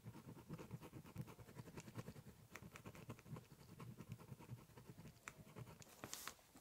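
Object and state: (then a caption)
Pen scribbling on a cardboard box. A ballpoint pen tip scratches and scribbles lines across the top surface of a large, closed, hollow brown corrugated cardboard shipping box. Quick, quiet scratching strokes sound in a steady, busy rhythm, each carrying a dull, hollow low thump from the box, with occasional brighter scrapes near the end.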